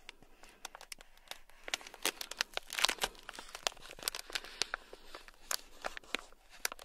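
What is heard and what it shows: A thin black stick scratches a small, sealed, clear plastic bag packed full of tiny gold beads. It makes a rapid series of sharp, bright crinkling scratches and clicks that stop dead, with almost no low end. The bursts swell to a denser rustle near the middle of the clip.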